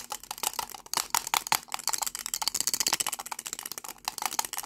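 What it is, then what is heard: Plastic lipstick tube rattled with its cap. A small cylindrical lipstick tube with a dark red plastic body and a shiny silver metallic-look cap is held in both hands while fingertips and short nails rapidly twist, pull and rattle the cap on the hollow tube. The result is a dense, continuous stream of quick, dry plastic clicks and rattles, bright and crisp with almost no low end and no ring after each tap.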